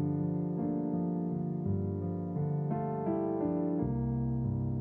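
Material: Nothing is struck.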